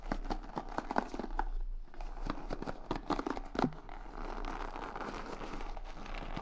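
Fingertips and nails rub and scratch along the wooden pin bristles of a large wooden paddle hair brush, set in a cushion and held up in both hands. Quick, dry crinkling ticks and scrapes come in irregular bursts, then blend into a steadier, denser rustling scratch for the last few seconds. A faint low hum sits underneath throughout.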